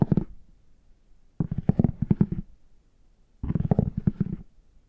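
A plastic stick tool with a rounded tip scratches and taps the embossed squares of a brown, chocolate-bar shaped faux leather hard shell case held upright. Three bursts of quick, dull, low scratchy taps are heard, a short one at the start and two longer runs, separated by near silence.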